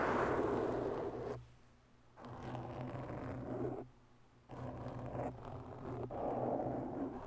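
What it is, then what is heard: Foam microphone windscreen scratched with nails. Long natural bare fingernails of both hands slowly scratch a large, round, black foam windscreen that sits soft and porous over a hollow microphone capsule. Three stretches of soft, dense, muffled scratching and rustling, centered in the low-mid range, are separated by two brief quiet gaps. A faint low hum continues underneath throughout.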